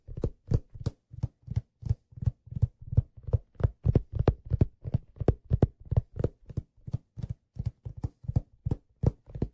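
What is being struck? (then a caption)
Leather fedora hat crown. Fingertips tap the top of the crown of a hollow, empty black leather fedora held upright in front of the body. Dozens of soft, dull, low thumps come in a quick, uneven rhythm, each dying away almost instantly with no ring.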